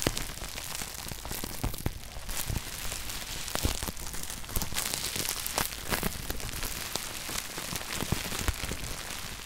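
A loose sheet of clear plastic bubble wrap resting on top of a red shoebox is squeezed by fingers, popping the bubbles. Sharp, bright pops snap out irregularly over a steady, rain-like crinkling of the plastic for the whole clip.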